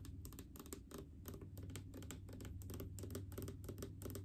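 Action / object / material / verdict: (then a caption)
tap / plastic mouthwash bottle / plastic / none. Long painted fingernails tap quickly and irregularly on a large, full blue plastic mouthwash bottle with faceted sides and a white cap. Each short, dry tick has a bright edge and dies almost at once. The taps sit over a steady low hum.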